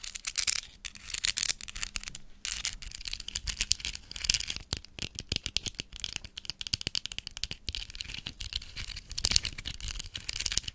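A large, hollow white plastic skeleton spider decoration is held up and tapped with long acrylic nails. Rapid, dry, bright clicks and rattling taps run throughout with no ring after each hit, over a faint low hum.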